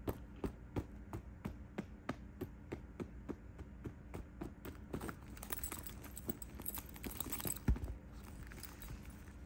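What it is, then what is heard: Quilted faux leather handbag. Fingertips tap on the embossed quilted front panel of a closed, cream quilted faux leather handbag lying on a bed. A steady series of soft, dull, low thuds becomes quicker and more clustered toward the end, with a faint scratchy rustle underneath.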